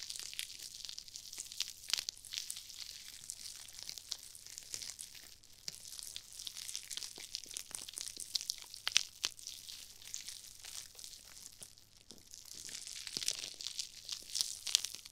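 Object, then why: Nylon mesh scrub sponge. Two matching glittery nylon-mesh scrub sponges, one pink and one red, each small, soft and foam-filled, are held in the fingertips of long-nailed hands and squeezed and rubbed beside an ear-shaped microphone. The result is a steady, bright, crinkly scratching and crunching with dense rapid rustles and almost no low end, swelling louder near the end.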